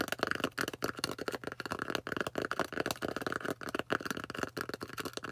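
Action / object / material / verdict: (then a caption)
tap / polystyrene foam disc / polystyrene foam / none. Long orange nails tap and scratch the flat face of a thick, solid, plate-sized white polystyrene foam disc. The result is a dense run of quick, dry clicks and scrapes with no ring, with many short hits blurring together.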